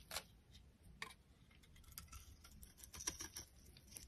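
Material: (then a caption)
Soap. A metal utility knife blade carves a solid oval pink bar of dry soap held in the hand, shaving it into flakes. Quiet, bright, dry scraping is punctuated by sharp crisp clicks and ticks that stop at once with no ring.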